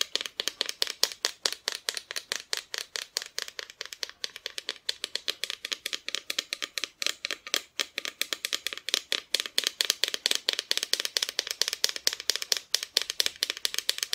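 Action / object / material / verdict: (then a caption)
tap / wooden Christmas decoration / wood / none. Close-up tapping on a wooden Santa Christmas decoration produces a fast, uneven stream of dry, bright clicks with almost no ring or low end. The taps come in quick bursts throughout, some sharper and louder than others.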